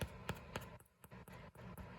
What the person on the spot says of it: When you tap the bread, you'll hear a hollow sound coming out of the bread.